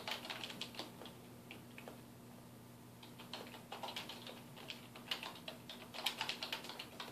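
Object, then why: Plastic computer keyboard. Fingertips of both hands type rapidly on a black plastic computer keyboard resting on a wooden desk. Bright, clicky key taps come in quick bursts, pause briefly near the middle, then pick up into a denser, louder flurry over a faint steady low hum.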